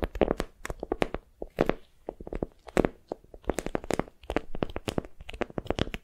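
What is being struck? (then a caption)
Wax-coated cotton wrap. A patterned beeswax-coated cotton wrap, bundled around a soft squishy block and held in both hands, is gripped and crinkled with fingertips and long nails. Quick, dry crinkling and crunching bursts follow one another in a steady, uneven stream, each snapping off short with a bright, papery edge over a soft low body.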